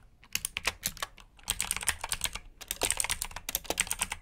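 A full-size black plastic mechanical keyboard with backlit keycaps and clicky blue switches, resting on a brown mat, is typed on fast with the fingertips of both hands. Bright, sharp clicks come in quick, uneven bursts with brief pauses, each keystroke dying away almost instantly.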